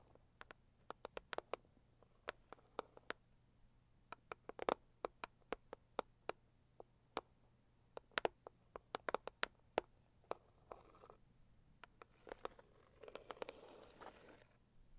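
Long purple acrylic nails tap and scratch the lid of a pink floral Saviland rigid cardboard gift box, medium-sized and hollow. Dozens of sharp, dry, quiet clicks fall in irregular bursts with almost no ring, and a softer scratching rasp builds toward the end.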